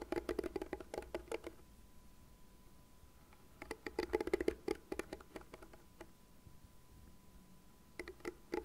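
Long nails scratch the bristle pad and tap the plastic rim of a light blue plastic cat-shaped hairbrush. Quick bursts of light, dry tapping and scratching come in three clusters separated by quiet gaps, each click short with almost no ring. A faint steady tone hums underneath during the quieter stretches.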